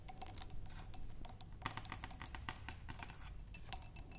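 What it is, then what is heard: Glass vase with water tapped with fingernails. Long nails tap quickly on a clear glass vase holding water and tulip stems, while a hand comes close at the start. The result is a rapid, steady patter of short, bright clicks that die away almost at once, over a constant low hum.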